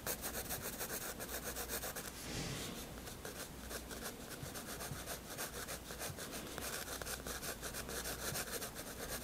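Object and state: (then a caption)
Pencil drawing on sketchbook paper. A 7B graphite pencil draws lines on a white paper sketchbook page with a rubbing, scratching action. Steady, rhythmic back-and-forth strokes make a dry, bright, papery scratch over a faint low hum.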